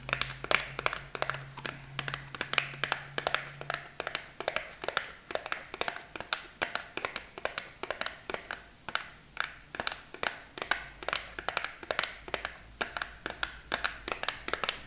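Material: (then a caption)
Cardboard. Long nails tap rapidly on the front of a hollow, flat rectangular green cardboard false-eyelash box with a clear plastic window, held in both hands. The result is a steady stream of dry, sharp clicks that die away instantly, centered around 2.4 kHz with bright highs. A faint low hum sits underneath for the first few seconds.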